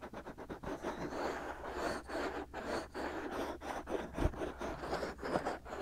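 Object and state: Silicone microphone ears being scratched.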